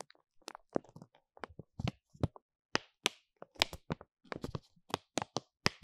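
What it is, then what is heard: Stack of plastic-foil mask sachets. Fingertips and nails tap and scratch the top of a stack of flat, filled paw-shaped hand and nail mask sachets made of laminated plastic and foil, resting on a fluffy cloth. The result is a quick, irregular run of dry, crisp taps and crinkly scrapes with a bright edge. Each sound stops almost instantly, leaving short silences between them.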